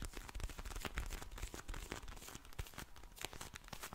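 Long blue nails tap and scratch a pink vinyl eye mask filled with gel beads, with some crinkly squishing of the plastic. A dense run of quick, dry clicks and bright crackly scratches plays over a soft low rumble, each tap ending almost instantly.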